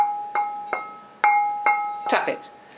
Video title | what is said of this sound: Majolica The Method of Working - Stage 2 Putting the glaze-base on to tiles | If the sound is high, it's not broken. If the sound is flat, it's broken and don't use it.